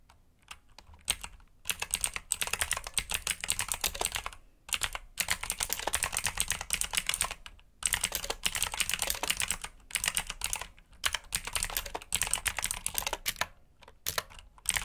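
Fingertips type on a black backlit mechanical keyboard with plastic keycaps, producing dense runs of sharp, bright clicking keystrokes. The bursts are separated by brief pauses, and each click is short and crisp with almost no ring.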